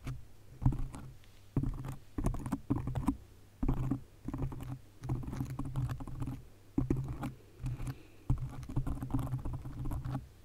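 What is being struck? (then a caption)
Foam microphone windscreen. Long nails rapidly scratch and tap a black foam windscreen on a condenser microphone. The result is a dense, muffled, low-heavy rustling with quick thumping bursts and short pauses between them.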